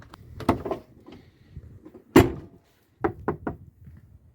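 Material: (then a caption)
Steel. A car door's steel panel, now covered with sound-deadening sheets, is tapped several times, giving short, dull, damped thuds centered in the low-mids. Each hit dies away almost immediately, with one louder knock in the middle. The treated panel no longer sounds the same and now sounds less hollow than the untreated area.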